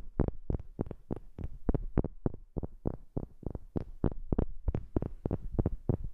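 A wooden object is tapped with a fast, uneven run of about 23 short knocks, recorded up close on a new microphone. Each tap is a dull, low thump with almost no ring, though a few carry a faint brighter click.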